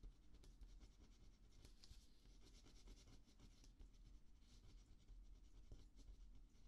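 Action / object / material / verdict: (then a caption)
scrape / paper notepad sheet under a ballpoint pen / paper / none. A ballpoint pen writes letters on a thin paper sheet of a small spiral notepad lying flat on a dark table, with the other hand resting beside the pad. Quiet, steady scratchy pen strokes come through with bright, hissy bursts over a constant low rumble, continuing without a clear break for the whole clip.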